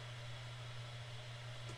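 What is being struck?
Nothing is struck.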